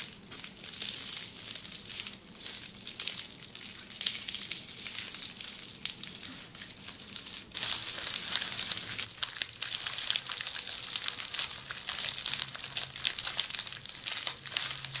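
A red plastic bubble wrap sheet is scratched with long nails while lying flat, then lifted and scratched up close. The result is a dense, bright crinkling and crackling texture that sounds like sizzling. It grows louder and closer after about halfway.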